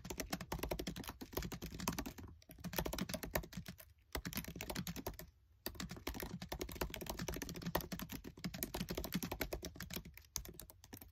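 Fingertips with short nails type fast on the black plastic keys of a MacBook Air keyboard set in an aluminium body. The result is a dense stream of short, dry clicking taps with a soft low thump under each key, broken by a few brief pauses.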